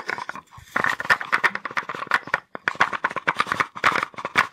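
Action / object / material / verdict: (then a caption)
shake / small wooden box with wooden blocks inside / wood / none. A small wooden box with wooden blocks inside is held in the hands and shaken quickly, so the blocks rattle against each other and the box. The result is a fast, dry, clacking rattle of many short knocks, centered in the midrange with little low end, with a brief pause just past halfway before the shaking resumes.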